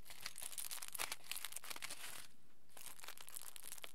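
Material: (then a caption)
Aluminium foil. Fingers and palms squeeze and crinkle a small, hand-sized folded aluminium foil packet. Quiet, dense, bright crackling runs in irregular bursts, pauses briefly just past the middle, then resumes with sharper crinkles.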